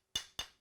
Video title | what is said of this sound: Traditional Building – Hands on Brick | you can hear how dense that one is